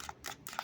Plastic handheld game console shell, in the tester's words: if I tap on it guys it does not sound hollow